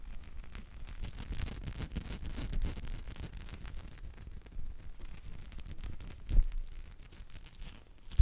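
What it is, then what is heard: Rubber spiky massage ball. A small teal spiky rubber massage ball, likely hollow, is rolled between the palms and rubbed close to the microphone. It makes a continuous low, muffled rumbling with soft scratchy, brushing textures, swelling and fading unevenly, with one louder thump about two-thirds of the way through.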